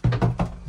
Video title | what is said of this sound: HD Agro predstavljanje: ArmaTrac 604e #traktor | nu se aude un sunet gol când bat așa cu degetele